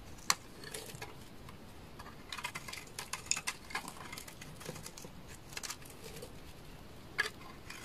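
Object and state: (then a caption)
Dry bar of laundry soap being scraped. A utility knife blade scrapes a solid bar of dry amber laundry soap held in the hand, curling shavings off it. The sound is quiet, bright, crisp crackling and scratching with short ticking snaps over a soft hiss, and a few sharper cracks stand out.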